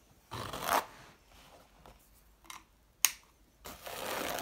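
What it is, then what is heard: Sisal scratching mat being scratched. Fingertips and nails scratch and rub the rough weave of a flat woven sisal cat-scratching mat hung on a wall, and its black felt cat-face appliqué with green-ringed eyes. Bursts of dry, bright, raspy scratching are separated by quiet gaps, with one sharp, quickly fading tick near the middle. A longer, steady scratch runs to the end.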